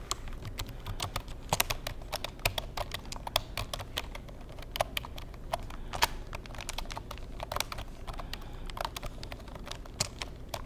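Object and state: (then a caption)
Plastic computer keyboard. Fingertips tap the keys of a black plastic Insignia computer keyboard in a steady, uneven stream of quick clicks. Each tap is short and dry with a bright edge and a hollow plastic tone around 630 Hz, dying away almost instantly. A low, steady rumble sits underneath throughout.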